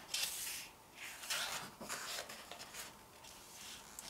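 Fingertips and long painted nails rub across the glossy paper pages of an open photobook with photo collage pages, then turn them. The result is soft, bright, airy swishes and scratchy rustles in several bursts, with almost no low end.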